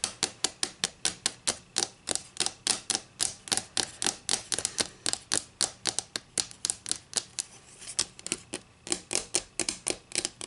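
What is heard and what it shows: Long green acrylic nails tap and scratch along the edge and face of a solid flat wooden ruler with inch and centimeter markings, held near a table. About 45 quick, sharp, bright clicks come in a rapid, fairly steady rhythm, with a faint scratchy texture between them. The clicks are dry and die away almost instantly, with almost no low end.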